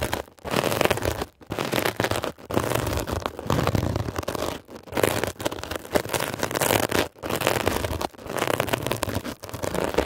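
A metal ear pick scratches a blue, mesh-covered, textured foam scrub sponge in quick bursts of rough, crackling scraping. The sound is dense and broadband, centered in the midrange, and it stops for brief gaps between strokes.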